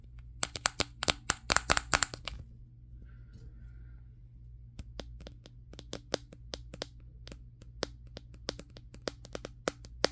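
The fingertips of one hand tap a Samsung Galaxy S23's matte glass back near the camera while the other hand holds the phone. A quick flurry of sharp, bright, clicky taps comes first, then a short lull with a faint tonal whine near 1.4 kHz. Evenly spaced taps follow over a steady low hum.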